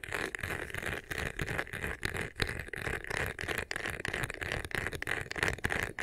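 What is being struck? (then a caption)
Embossed faux leather vanity case. Fingertips and short nails quickly scratch and rub the sides and top of a hollow, medium black crocodile-embossed faux leather vanity case with a clear handle. The result is a fast, uneven run of dry, rattly scraping strokes with a bright, hissy texture over a low thump from the box.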